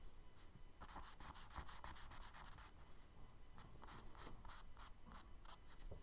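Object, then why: Charcoal stick on kraft paper sketchbook page. A charcoal stick held in the fingertips is rubbed and stroked across a brown kraft paper page of a spiral-bound sketchbook lying flat on a dark table while drawing. The strokes come as a quick series of soft, dry, scratchy rubs with a bright hiss, over a faint low rumble.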